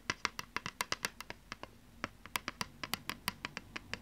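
Long nails scratch and tap the surface of a thin plastic PlayStation 2 game disc held in one hand. About 25 crisp, bright clicks sound with almost no ring, in a quick irregular rhythm with a short pause midway. Soft scratching fills the gaps between them.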